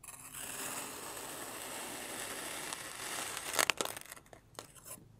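A long iridescent metal carving knife slices and presses grid lines into a solid, oblong slab of red, purple, orange and teal kinetic sand lying on a white surface. A steady, bright, grainy scraping hiss runs for about three and a half seconds, then gives way to a few sharper, crisp crunches and softer scratchy ticks as the blade pushes through and lifts away.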